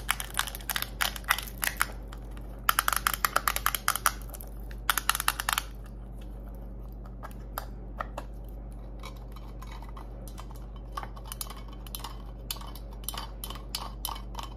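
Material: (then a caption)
Metal. A small, hollow, closed lilac-painted metal mint tin labelled "cofix" is held in the hands and tapped and scratched with long acrylic nails. Quick, bright clicks come in dense bursts with raspy scratching between them, over a steady low hum.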